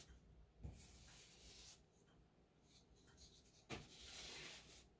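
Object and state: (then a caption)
Textured drywall wall being brushed. A wide brush loaded with paint is swept over a painted, textured drywall wall around a light switch box. Soft, bright, scratchy brushing hisses rise and fall across the clip, with two sharper bumps standing out as the bristles drag over the bumpy surface.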